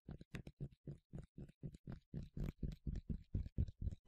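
A yellow plastic sunscreen spray bottle with a translucent cap, partly filled with liquid, is rubbed and scratched on its surface with the fingers and nails. The result is a quick, steady run of short, low, muffled scuffing bursts, about four per second, each stopping dead with no ring.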